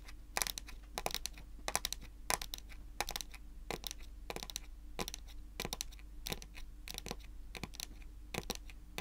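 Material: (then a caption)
Wood. Long pointed acrylic nails tap and scratch a large, solid, glossy dark brown wooden table top. Quick clusters of sharp, bright clicks and short scratchy bursts fade almost instantly, over a steady low hum.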